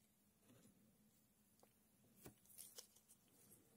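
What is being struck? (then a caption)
Tray of coarse loose sand. A thin red stick pokes and scrapes through a tray of loose, coarse sand, while coins sit still at the bottom edge, untouched. Quiet, grainy rustling and scraping build into several short, bright gritty ticks near the end, each dying away almost at once.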